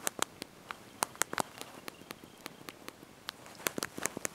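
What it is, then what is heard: Plastic phone keyboard being typed on. Thumbs and fingertips press and tap the small backlit plastic keys of a handheld slide-out mobile phone's QWERTY keyboard while typing a message. Quick, dry, bright clicks land in an uneven rhythm over a quiet background, some lighter and some sharper, with almost no ring or low end.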